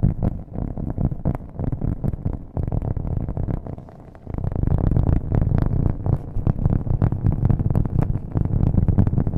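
Long nails tap fast on the flat face of a thin, solid, round cork coaster or board held in one hand close to the microphone. The result is a dense, irregular stream of dull, soft thuds that are heavy in the low end, with almost no brightness. The tapping eases briefly around the middle before returning louder.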